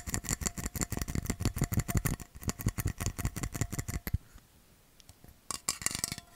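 A metal bottle is tapped fast with rapid, dense clicking hits for about four seconds. The tapping stops into near silence, then a short burst of quick taps returns near the end.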